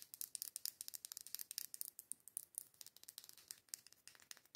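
Long pointed acrylic nails rapidly tap and scratch the white label and glass wall of a matte, dark-green glass candle jar filled with candle wax. About 32 quick, dry clicks and scraping ticks are heard, bright and high with almost no low end. Each one dies away almost instantly.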